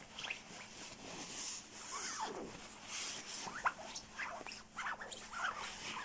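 Fingertips scratch and rub the shell of a dark quilted nylon down puffer jacket, soft and padded. A dense, bright rustling hiss is broken by short scratchy swishes and small crinkly squeaks, with little low end.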